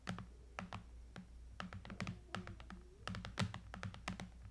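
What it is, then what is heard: Aluminum and glass tablet. Long nails quickly tap and scratch along the top edge and bezel of a silver iPad lying flat, a thin solid tablet with an aluminum frame and glass screen. It makes a rapid series of short, crisp clicks with faint scratchy strokes between them, over a steady low hum.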